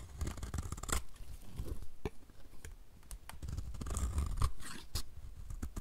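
A utility knife blade scrapes thin shavings from the surface and edges of a solid, dry, white rectangular bar of soap held in hand. Repeated dry, crunchy scraping strokes sit over a heavy low rumble, with bright, crackly flakes on the sharper strokes.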